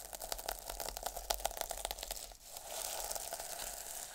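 A flat sheet of fabric covered in multicolour, iridescent plastic sequins lies on a surface and is scratched and brushed with long metallic nails and fingertips, flipping the sequins. The first half is a rapid series of sharp, bright clicks and crinkles. After a brief dip, it turns into a steadier, hissing rustle with a mid-pitched tone running underneath.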